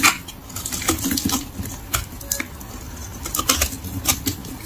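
A utility knife blade shaves a solid tan bar of dry soap with an embossed logo, held in the hand, scraping off thin flakes that pile up on a wooden table. The sound is a run of dry, bright, crackly scraping strokes at an uneven pace, each with a sharp rasp and almost no ring.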